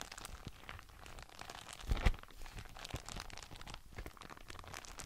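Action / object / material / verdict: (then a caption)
scrape / thin polypropylene document folder / plastic / none. An empty, large translucent frosted polypropylene document folder with thin flexible sheets is bent and curved by both hands while the fingertips rub its surface. It makes a steady, soft crinkling and crackling with dense short clicks and a low rumble underneath. A brief louder crunch comes about two seconds in before it settles back to quiet crinkling.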